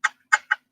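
Sparkly faceted black clip-on earrings are tapped together three times, giving short, bright clicks centered around 1.5 kHz that die away almost instantly. The earrings are glass.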